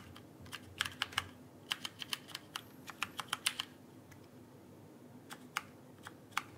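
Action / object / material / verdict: tap / plastic mechanical keyboard keycaps / plastic / none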